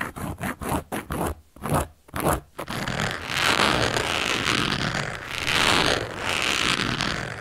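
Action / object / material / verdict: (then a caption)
scrape / cork coaster / cork / none. A hand with long yellow nails scratches and traces a teal-handled carving tool across a round, flat, solid cork coaster lying on a black surface. A quick series of short, separate scratchy strokes comes first, then gives way to a continuous, gritty scraping that swells into bright, hissy passes.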